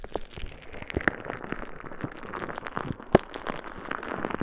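A clear plastic bag full of small green beads is held at the side of a microphone and squeezed and shaken by a hand with long red nails. It makes a dense, steady crackling rustle of quick clicks and pops, with one sharper, louder crack about three seconds in.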